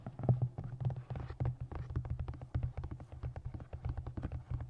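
Long nails and fingertips tap rapidly on the cover and top of a solid navy moth-print hardcover book with a printed blue cover. The result is a dense, steady run of dull, low thuds centered around 125 Hz, each dying away almost instantly with no bright edge.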